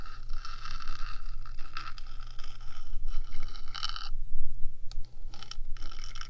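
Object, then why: Small hollow metal microphone body. Long nails on one hand scratch across the top of the small, hollow, rectangular metal box body of a 3Dio binaural microphone. The result is a continuous, dense, rasping scrape with bright, ringing metallic overtones and a steady low hum underneath. The sound briefly drops out just after the midpoint.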